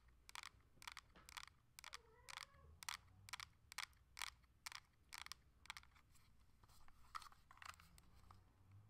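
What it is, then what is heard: Plastic handheld game console. Long acrylic nails tap on the back and front of a coral Nintendo Switch Lite, a solid handheld with a hard plastic shell and a glass screen. About 15 sharp, bright clicks land at an uneven pace over a quiet background, each one stopping almost instantly.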